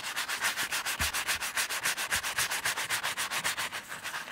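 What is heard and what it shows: A small embossed Gucci leather bifold wallet, flat and solid and covered in soap lather, is scrubbed with a wooden-handled horsehair brush. A steady back-and-forth bristly rubbing with about 20 strokes keeps a regular pace of roughly four per second. Each stroke gives a bright, hissy swish with a faint wet edge.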